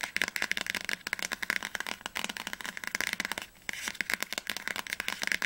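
Long nails tap quickly on the spine of an orange hardcover book standing upright. They make a fast run of crisp, dry, bright clicks with almost no low end or ring. The tapping pauses briefly about two-thirds of the way through, then resumes.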